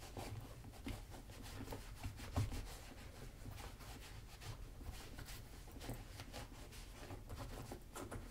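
A white cloth rubs the leather upper of a black leather Magnanni double monk-strap dress shoe, held on its side on a table by one hand with a wooden shoe tree inside. The result is a quiet, steady, low, muffled rubbing with a faint papery hiss, broken by a few brief, slightly louder bumps.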